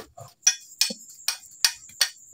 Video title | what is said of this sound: Anong pagkakaiba ng lead/tingga at zink? #scrap #tips #junkshop #tutorial #metal #lead #zinc | Halos walang tunog. Ano mo talaga na solid siya na ano.